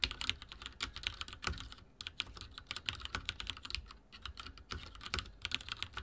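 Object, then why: Mechanical keyboard with plastic keycaps. Fingertips type rapidly on a backlit mechanical keyboard with dark plastic keycaps and a silver frame. The result is a steady stream of bright, crisp clacks that stop short, with a faint low thud under each keystroke and brief lulls between bursts.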